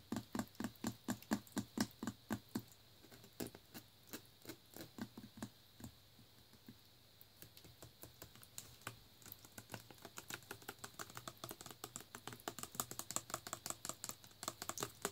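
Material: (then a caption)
Plastic. A full clear plastic Naked Green Machine bottle of green juice is held in the hand and tapped and scratched with fingernails along its paper label. Dozens of quick, dry, quiet taps and clicks come at an uneven pace, mixed with soft scratching. The tapping grows denser toward the end, and a faint low tone sounds under the first few seconds.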